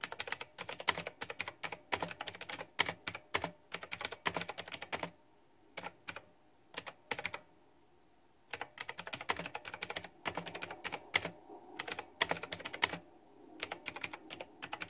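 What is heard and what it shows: Fingertips and long nails type fast on a white backlit plastic retro mechanical keyboard with round typewriter-style plastic keycaps in a pink flower theme. Dense bursts of bright, sharp clicky keystrokes fill the clip, broken by a sparse stretch of only a few isolated taps around the middle before the rapid typing resumes.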